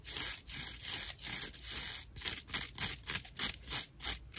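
Long nails scratch the coarse fiber surface of a dry natural loofah slab, giving a bright, raspy scraping sound with almost no low end. The first half has long, even strokes, and the second half turns into quicker, shorter scratches in an uneven rhythm.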